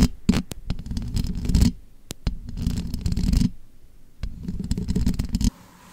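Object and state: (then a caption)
Metal microphone grille being scratched and tapped. Long manicured nails and fingertips tap and scratch the rounded, perforated metal mesh grille of a bare black condenser microphone, whose hollow grille makes the contact sound deep and muffled. Dense bursts of low, rumbling scratching alternate with sharp, bright taps and brief pauses, then stop abruptly near the end, leaving only a faint hiss.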